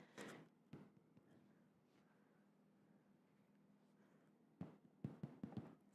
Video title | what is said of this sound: Pot Peanut Butter and Jam Sandwiches from Scratch | I can hear it. Sounds hollow.